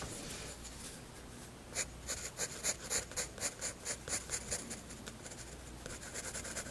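A graphite pencil shades a drawn face on the flat white paper page of a spiral sketchbook with scratchy rubbing strokes. Soft, steady scratching gives way to a quick run of louder, bright, evenly spaced strokes in the middle, then settles back into quieter high rubbing.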